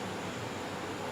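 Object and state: Nothing is struck.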